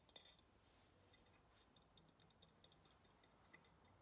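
Long nails tap and scratch the painted body of a hollow ceramic pottery vase held sideways. A quiet, steady run of light, bright clicks comes with a soft scratchy hiss, each tap dying away almost instantly with a faint high ring.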